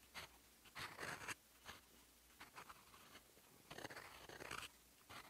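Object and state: Fountain pen nib scratching on paper.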